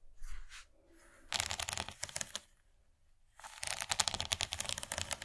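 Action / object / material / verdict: tap / rigid plastic serving tray / plastic / none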